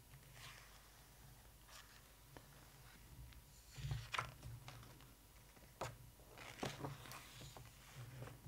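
Long nails on both hands tap and scratch across the glossy photo pages of an open hardcover photo book, and then a page is lifted. Soft, irregular clicks and dry scratching rustles rise and fall over a steady low hum, with a few sharper, brighter taps and crinkles standing out.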